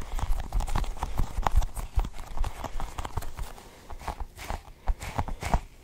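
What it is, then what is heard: Sticky rubber ball toy. Fingers squeeze and pull at a cluster of colored, sticky rubbery balls on a toy. Quick, irregular sticky pops and taps follow one another, each a short, dull thud with a faint brighter click. The sounds are loudest in the first half and soften toward the end.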